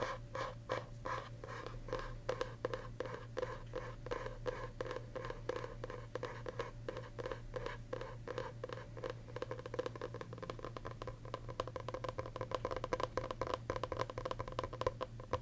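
Fingernails tap and scratch the paper-covered board of a green hardcover journal's back cover, held in both hands. A steady, rapid run of short, dry clicks and scrapes carries a hollow, papery resonance around 500 Hz over a constant low hum, and each tap dies away almost at once.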